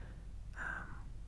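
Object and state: Nothing is struck.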